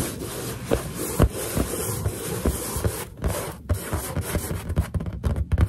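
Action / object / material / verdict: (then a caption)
tap / inflated latex balloon / latex / none. Finger pads rub and lightly tap the surface of a large, hollow, inflated white latex balloon. Dull, low, boomy thumps with almost no ring stand out over a steady soft rubbing, and the taps come quicker toward the end.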